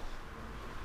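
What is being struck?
Nothing is struck.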